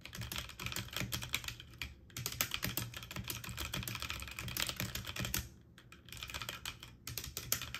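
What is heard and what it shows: Fast typing on a full-size backlit mechanical keyboard with plastic keycaps on an aluminum frame, struck quickly by fingertips with short painted nails. Dense, rapid clacks with a bright edge run continuously, broken by brief pauses near 2 seconds and between about 5.5 and 6 seconds, and each press dies away almost instantly.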